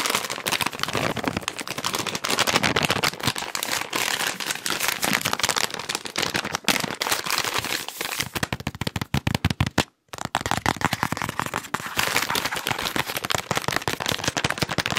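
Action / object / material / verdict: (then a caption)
tap / soft plastic wet wipes pack / soft plastic / none. A hand-sized, green and white soft plastic wet wipes pack is crinkled and tapped with fingertips and nails. The result is a dense, fast stream of bright, crackling plastic clicks and rustles with almost no ring, broken by a brief silence around ten seconds before it resumes just as busily.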